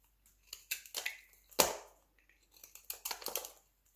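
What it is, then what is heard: Dry soap flakes, crunchy. Fingertips snap and crumble a pile of thin, brittle flakes cut from a light blue dry soap bar, with a utility knife briefly in view. About ten short, dry, crunchy cracks with bright, high crackle sound in quick bursts. The sharpest snap comes near the middle, and each dies away almost instantly.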